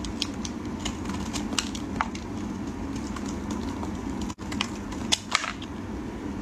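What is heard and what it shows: A solid white soap bar held in gloved fingers is shaved and scraped with a metal utility blade. Short, crisp scratching clicks and snaps ring out over a steady low hiss, with a brief silent gap near the middle and a few sharper bright snaps toward the end.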